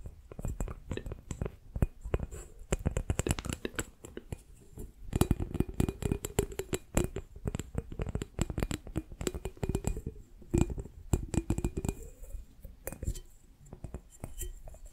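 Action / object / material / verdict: tap / small glass bowl held over the microphone / glass / none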